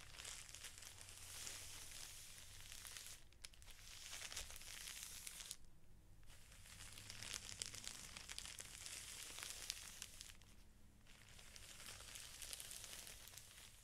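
Fingertips rub and press the crinkly clear plastic wrapper on a stack of felt sheets, making a steady bright crinkling and rustling with a low hum underneath. The crinkling pauses briefly near 3.3 s, 5.6 to 6.3 s and 10.5 to 11 s.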